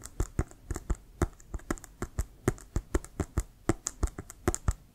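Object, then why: Inflated synthetic leather football. Fingertips and nails tap quickly across the surface and laces of an inflated brown Wilson composite synthetic-leather American football held horizontally. The result is a fast, irregular run of short, dull, low thumps with light clicky ticks, each dying away almost instantly.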